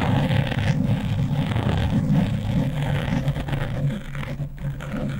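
Long nails and fingertips scratch quickly over a black foam windscreen on a microphone. The result is a dense, continuous rustling scrape dominated by a deep, boomy low-end rumble, staying fairly steady in loudness with a brief slight dip toward the end.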